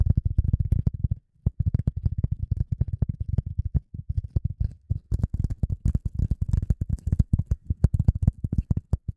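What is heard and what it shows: A piece of polyethylene foam is tapped and handled in a quick, steady run of soft, dull thuds that are deep and muffled, with almost no ring. The tapping pauses briefly twice, then continues with slightly crisper, brighter edges on each tap in the second half.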